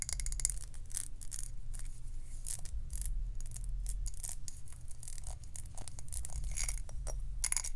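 Long acrylic nails rapidly tap and scratch the glass body and lid rim of a medium glass jar candle with a glass lid, filled with white wax. Bright, crisp clicks and short scratchy strokes come in quick succession over a steady low rumble.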